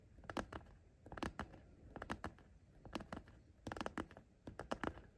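Short painted fingernails tap quickly on the top of a hollow, soft, patterned fabric zippered pencil case, along the zipper. Bursts of light, dry clicks come in uneven clusters with brief pauses between them. Each tap dies away almost instantly over a faint steady hiss.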